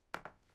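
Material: Metal.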